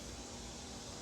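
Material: Nothing is struck.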